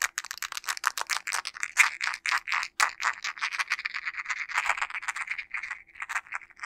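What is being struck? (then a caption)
Smartphone in a plastic case. A smartphone in a teal plastic case with a panda pop-grip, a solid device held in both hands, is tapped rapidly with fingertips and nails on the case. The result is a fast, dry rattle of sharp clicky ticks, bright and centered around 2 kHz with no low end. Each tap dies away almost instantly.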